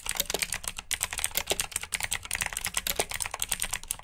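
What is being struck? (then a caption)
Plastic mechanical keyboard. Fingertips with short nails type on a full-size black plastic mechanical keyboard with RGB backlit keycaps, clicky blue switches and hollow key housings. The bright, sharp clicks come in a fast, steady stream with very short decay and only a few slightly heavier, lower-pitched strokes mixed in.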